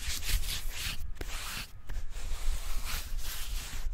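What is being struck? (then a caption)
Tree trunk bark. Fingertips rub and scratch the smooth bark of a slim, solid tree trunk in a brushing motion close to the microphone. The result is a steady, dry scratching hiss, bright in its upper range and backed by a low rumble, with brief near-silent gaps between strokes.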